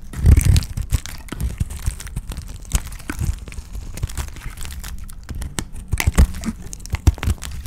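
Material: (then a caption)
Soap. A utility knife blade cuts and scrapes a rectangular cream-white solid dry soap bar held in the hand, peeling off crumbly curls. Dry crunching and crackling scrapes come in quick, uneven bursts, with short crisp ticks and soft low thumps. A few louder crunches stand out near the start and toward the end.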